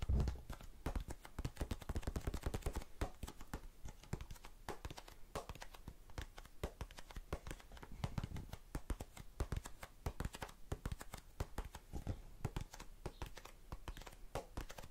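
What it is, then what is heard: Plastic cotton swab tub. Long red-painted nails tap rapidly on a small blue plastic tub full of cotton swabs held close to the microphone. The result is a dense, steady stream of quick, soft clicks and taps with a heavy low thump and short decay, continuing throughout the clip.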